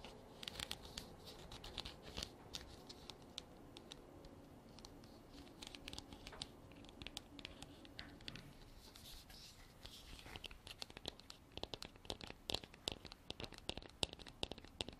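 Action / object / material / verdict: tap / hollow hard plastic container / plastic / none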